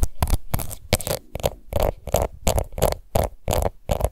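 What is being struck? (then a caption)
Small plastic powder compact. Long nails scratch a small, round, pink plastic face powder compact held in one hand, making about fifteen quick, uneven scratching bursts. Each burst is a short, dry rasp with a bright hiss over a soft low thump, and it stops with almost no ring.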